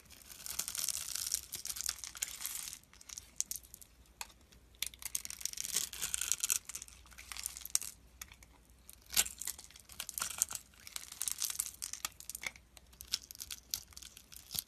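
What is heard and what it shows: A solid rectangular beige soap bar is held in hand and scraped along its scored surface with a utility knife blade, and small soap cubes crumble off. The sound is a bright, dry run of crisp scraping and crumbling bursts with sharp clicks and almost no low end.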